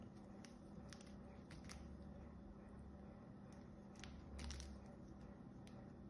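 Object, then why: Bar of soap cut with a small metal blade. A small metal blade cuts into and scrapes across the surface of a solid, hand-sized purple bar of soap. Short, crisp, bright scraping crackles come in scattered bursts over a quiet, steady low hum.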